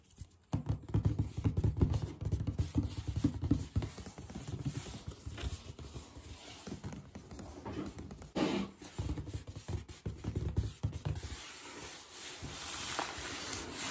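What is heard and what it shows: Fingertips and short nails tap and trace across the top and edge of a closed, hollow, red and tan printed cardboard Vans shoe box whose contents are not visible. After a brief silence, rapid, dry taps with low, hollow thuds patter across the lid, mixed with light scratchy tracing. Near the end the sound settles into a softer, continuous scraping.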